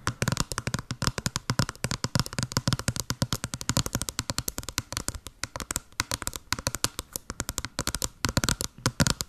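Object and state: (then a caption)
Small cardboard box. Long blue nails tap and scratch fast on a small, hollow white cardboard box with a blue pattern, held upright close to the mic. The result is a dense, rapid stream of crisp, dry clicks with a hollow low body and bright scratchy edges. Each tap dies away almost instantly.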